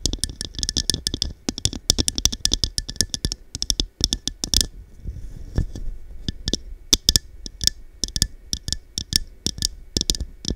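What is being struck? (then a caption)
Faceted cut-glass cup. Long dark nails tap rapidly on the side of a small, hollow, empty textured cut-glass cup with faceted sides, held over a microphone. The taps are quick, bright clicks with a high glassy tone and a soft low thump underneath, dying away almost instantly. They come in uneven bursts, with a brief quieter pause near the middle.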